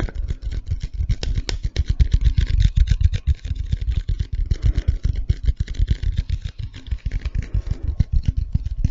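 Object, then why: Cardboard chip tube. A hollow, tall cylindrical Pringles can with a cardboard body is held in one hand close to the mic and tapped and scratched along its side with fingertips and nails. Rapid, dense taps give deep, dull, hollow thumps that stop almost instantly, with a faint scratchy hiss between them. The sound stays low and muffled throughout, with almost no bright edge.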